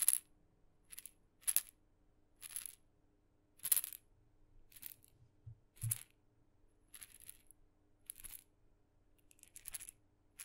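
A tiny red maraca with blue dots, its hollow, glossy painted wooden head holding loose filling on a light wooden handle, is held by the handle in the fingertips and gently shaken in front of a microphone. It gives short, quiet, bright rattling bursts at irregular intervals, each stopping almost instantly, over a faint low background hum.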